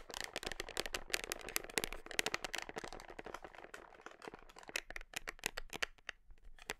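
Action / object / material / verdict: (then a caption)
tap / plastic protein tub / plastic / none. Long nails tap and scratch the side and red label of a large, hollow, black plastic whey protein tub held against the body close to the microphone. Quick, crisp, bright clicks come in dense bursts over a scratchy, crinkly rustle, each tap dying away almost instantly. Toward the end the taps thin out into sparser, separate knocks.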